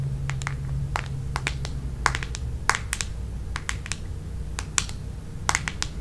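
Long nails tap and scratch on the back of a red plastic paddle hairbrush, a smooth hollow plastic shell. Quick, dry, bright clicks land in an uneven rhythm, each cut off almost at once. A steady low hum sits underneath throughout.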